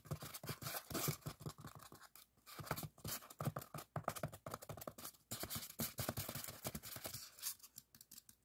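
Fingertips and nails scratch and tap quickly along the surface of a long, solid white expanded polystyrene (styrofoam) bar. The result is a dense run of dry, scratchy bursts with bright, hissy upper texture, soft low thumps beneath, and brief quiet gaps between flurries.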